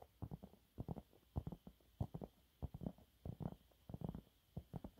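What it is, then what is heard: Cellulose sponge cloth. Fingernails on both hands scratch fast across a thin, flat, yellow textured cellulose sponge cloth. The result is a quick, irregular run of short, muffled rasping bursts, deep and soft, with little high end and no ring.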